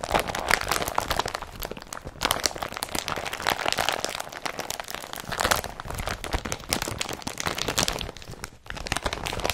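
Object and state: Woven polypropylene carrier bag.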